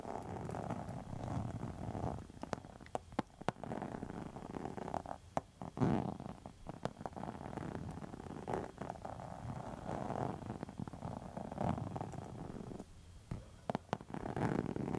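A closed pink textured faux leather wallet is scratched with long metal nail tips, making a steady, low, purr-like rasping rumble. Sharp clicks and taps break through it at irregular moments, and the sound stays dull, with little high brightness.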